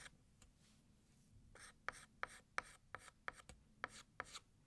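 A hand holding a white chalk stick writes "New Year" in cursive on a large, flat, solid black chalkboard. Soft scraping gives way to nine sharp, bright chalk taps and strokes in a loose rhythm, each with a dry gritty scratch and almost no ring.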